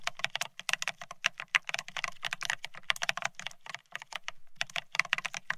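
Fingertips type fast on a beige plastic split ergonomic keyboard, producing a rapid stream of crisp, bright plastic key clicks with a faint low thump under each press. The taps are dry and short, with no ring after each key.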